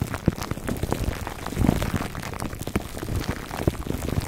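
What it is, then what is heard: Plastic-wrapped foam microphone cover. Fingertips scratch the crinkly clear plastic film wrapped around a foam microphone cover, working on both sides. The result is a dense, continuous crackle of small rapid pops and rustles, heavy in the low end and muffled, with no high brightness and little ring after each snap.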